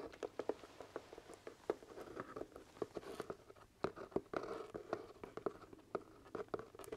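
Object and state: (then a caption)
Hollow leather top hat. Fingertips tap and scratch the side of the crown of a hollow, empty black leather top hat. Quick, dry, muted taps with a hollow mid tone sound in an uneven patter, mixed with soft scratchy rustling. Each tap dies away almost at once.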